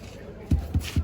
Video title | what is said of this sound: OLD CITY OF JERUSALEM WALK TOUR! GUIDED TOUR #ISRAELTOUR #MyAbuDhabiLife - Leah Acebuche | hollow sound. There is a hole there.